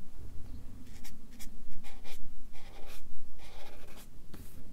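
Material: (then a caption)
Paper. A Sharpie marker draws and fills in stripes on a fish drawing on a stack of white paper resting on a clipboard. The felt tip rubs the paper in short, scratchy strokes that come in repeated bright bursts over a low, steady background rumble.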